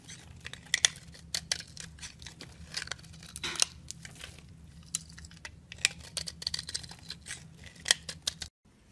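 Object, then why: Soap bar scraped with a metal blade. A metal blade scrapes and cuts flakes from the surface of a solid yellow soap bar, partly carved and held in a hand with long nails. Many short, crisp, bright scraping and crunching strokes come in quick irregular bursts over a faint low hum. The sound cuts off abruptly just before the end.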